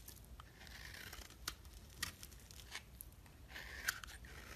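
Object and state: Bar soap being scraped.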